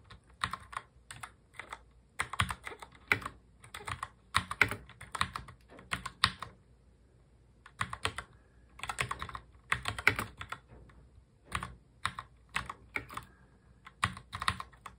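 A full-size black mechanical keyboard with plastic keycaps, resting on a desk, is typed on continuously with both hands. It gives bursts of sharp, bright clicks and clacks, broken by a few short pauses.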